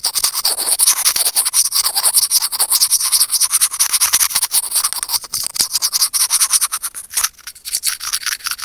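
Curved steel tweezers rub and scratch across a small, hollow white plastic earphone mic remote. The result is a fast, uneven run of dry, bright scraping strokes, with almost no low end and no ringing after each stroke.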